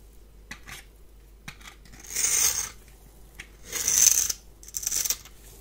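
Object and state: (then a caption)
Bar of soap scraped with a blade. A palm-sized, solid rectangular bar of white soap is held in one hand and scraped with a metal blade, raising white flakes. Three bright, dry rasping scrapes stand out, with faint small ticks and scratches between them over a quiet background.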